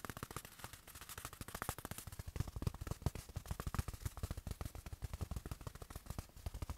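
A small, soft, padded black fabric watch pillow is held in one hand and quickly tapped with the fingertips of the other hand. About 46 rapid, soft taps come in an uneven stream, each a short, dull, low thud around 100 Hz with almost no ring and little bright content.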